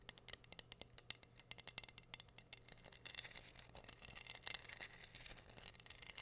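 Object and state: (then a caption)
Rhinestone-covered wooden board. Long nails scratch and tap across a flat, solid heart-shaped wooden board covered in pink rhinestones. The result is a quiet, rapid run of many crisp, bright clicks and ticks with almost no ring. A denser stretch of scratching comes in the second half, over a faint low hum.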